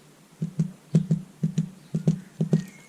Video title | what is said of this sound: Baking German Bread | if it sounds like a drum it's perfect